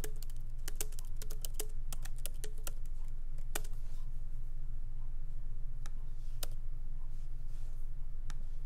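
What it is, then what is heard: Laptop keyboard being typed on. Fingertips of both hands tap lightly on a MacBook Pro laptop keyboard with black plastic keycaps in an aluminum body, resting on a wooden desk. Crisp, short key clicks come in quick irregular bursts at first, then thin out to scattered taps over a steady low hum.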